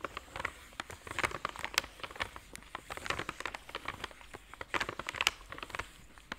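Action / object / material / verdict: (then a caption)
tap / flat cardboard chocolate box / cardboard / none. A flat, square, white printed cardboard box of Belgian seashell chocolates is held up in both hands and tapped and scratched with fingernails. Quick, light, crisp taps mix with dry, papery scratching in a steady, bright patter, and each tap dies away almost instantly.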